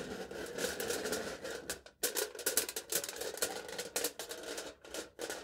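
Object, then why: Aluminium foil stretched over a cup, tapped with a metal knife tip. A metal knife tip taps and pokes the taut top of aluminium foil stretched over a hand-held cup. The result is a run of quick, bright, crinkly ticks over a papery rustle, with a brief near-silent pause about two seconds in before the tapping resumes.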